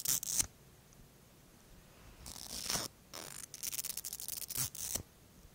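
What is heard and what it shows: A thin bristle-brush wand is pulled from a small pink plastic mascara tube held in one hand and drawn along the fingers of the other hand. Bright, hissy scraping and brushing strokes come in short bursts and longer sweeps, with quiet pauses between them and almost no low end.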